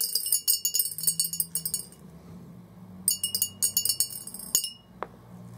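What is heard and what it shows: Orange plastic BB balls are dropped into a large, hollow, clear glass jar resting on carpet, bouncing on the glass base and piling up around the edge. Two quick bursts of bright, high glass clinks rattle in, separated by a quieter pause, with each clink dying away almost instantly. A single sharper knock and a brief faint tone close the clip.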